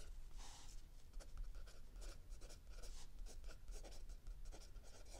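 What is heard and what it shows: A mechanical pencil writes continuously on a lined page of a spiral-bound notebook lying flat on a wooden table, with an open paperback book resting static under the other hand. Quiet, steady scratching strokes come through as short bright bursts over a low, rumbling background.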